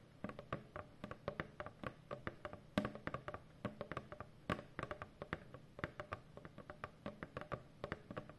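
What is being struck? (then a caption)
Corrugated cardboard box. Long painted fingernails of both hands tap quickly on a large, hollow corrugated cardboard shipping box. The sound is a fast, irregular run of short, dry taps with a low hollow body and very little ring. Some taps are louder than others.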